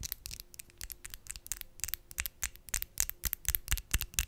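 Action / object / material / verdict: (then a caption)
tap / acrylic false nails / acrylic / none. Long, decorated acrylic false nails, small, hard and thin, are tapped nail on nail with the fingertips held in front of the mic. About two dozen sharp, bright clicks land in a quick, irregular rhythm, each dying away almost instantly, over a faint, steady low tone.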